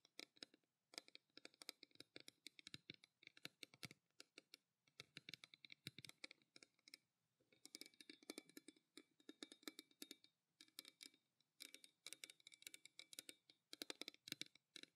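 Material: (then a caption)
Stainless steel. A pale green painted stainless steel tumbler bottle with a steel cap, held upright in both hands, is tapped rapidly with long black nails. The result is a quiet, continuous stream of bright, sharp metallic clicks that fade almost instantly, with irregular bursts and brief pauses.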